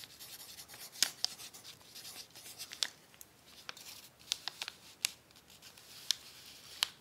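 A pencil tip writes on a crumpled brown paper sheet resting on a tablecloth, making soft, dry scratching and rubbing strokes. Sharp, bright ticks and crinkles stand out at irregular moments over the quiet, high-pitched scratching, with no low-end body.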